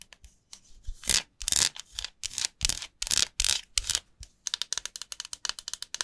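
A dry, solid, hand-sized white rectangular bar of soap, held over an empty glass bowl, is rubbed and scratched with long nails and fingertips. Bright, papery rasping strokes rise and fall in long sweeps. These give way to a quick run of short, crisp scratches near the end.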